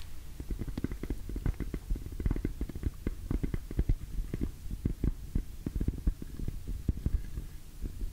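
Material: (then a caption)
PVC vinyl. Long nails tap and scratch the surface of an orange glossy PVC cosmetic pouch held in both hands. Rapid, irregular, dull low thuds mix with soft scratching, each tap short and dry with almost no ring.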